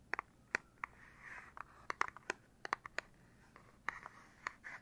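Fingers tap on the back of a Nintendo Switch Lite's plastic casing, giving about sixteen quick, irregular taps. Each tap is a sharp, dry click centered around 1–2 kHz that stops at once with no ring. Faint scratchy rustling fills the gaps, and the overall level is quiet.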